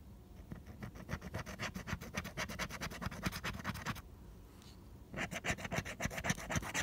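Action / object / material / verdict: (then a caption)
scrape / coated cardstock scratch-off ticket / coated cardstock / none. A small pink plastic scraper rapidly scratches the latex coating off a flat coated cardstock lottery ticket, no. 041, held flat by fingertips. Quick, raspy scratching strokes come about four per second with a bright papery edge, stop for about a second, then resume just as fast.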